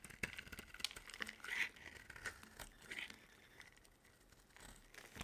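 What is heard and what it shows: A metal utility blade carves thin curls off a dry, solid white bar of soap with a blue rim, held in the hand. A quick run of crisp, dry scraping and crinkling strokes comes through, bright and papery with little low end, then trails off into quieter shaving.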